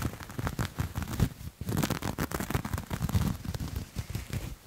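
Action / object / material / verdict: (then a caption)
scrape / textured knit fabric / knit fabric / none. Grey textured knit fabric is gathered in the hand and scratched and rubbed with fingertips and nails. The result is a dense, crackling scratch texture of rapid, uneven bursts with a low, muffled body and faint brighter rasps, with a brief pause near the middle.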